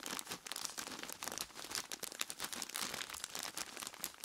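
Dark-gloved hands squeeze and crinkle a large clear plastic bag full of ice cubes. A dense, continuous run of bright, dry crinkling and crunching bursts with almost no low end and no ringing. The sound stays fairly quiet and even throughout.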